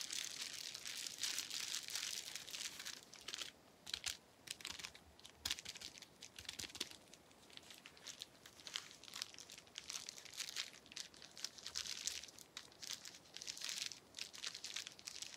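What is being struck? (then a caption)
Plastic bubble wrap sheet. A small, clear plastic bubble wrap sheet with air-filled bubbles is held in the hand and tapped and flicked with the fingertips. It makes a steady stream of quiet, bright crinkling and crackling with dense, sharp little clicks. Occasional louder snaps stand out over the soft, high rustle.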